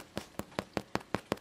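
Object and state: Hollow-sounding, fully baked bread loaf.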